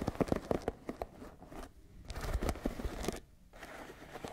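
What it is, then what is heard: Wooden paddle hairbrush. Long nails scratch and tap the dense wooden pins of a wooden paddle hairbrush held in one hand. Quick, dry clicking taps cluster at the start, then rough scratching runs across the pins, broken by short near-silent pauses.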